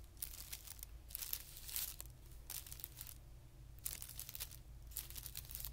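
Short-nailed fingertips scratch and rub the surface of a flat, thin, white patterned tissue paper sheet lying on carpet. The result is quiet, recurring bursts of bright, papery crinkling and scratching over a steady low hum.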